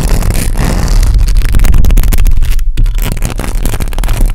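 Very long pink acrylic nails scratch and tap the hollow metal mesh grille of a black USB condenser microphone, producing a dense, uneven run of scraping and clicking that sounds deep and boomy up close. The texture stays busy and loud throughout, with one brief drop to near-silence partway through before the scratching resumes.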